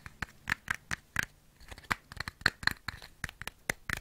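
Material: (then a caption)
Cardboard. A small printed cardboard matchbox with striker strips is held upright in one hand while the fingertips and short nails of the other hand scratch and tap it. The result is a quiet, irregular series of dry, crisp clicks and scratchy rustles with a papery bite around 1.8 kHz and no ring after each hit.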